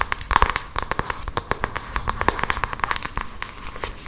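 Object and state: Cardboard makeup box.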